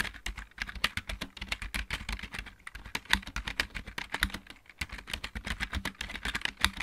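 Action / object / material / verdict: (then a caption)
tap / plastic mechanical keyboard / plastic / none. Both hands type rapidly with fingertips and nails on a full-size backlit plastic mechanical keyboard. The result is a dense, continuous stream of sharp, bright clicking taps with a soft low thud beneath each keystroke and almost no ring between them.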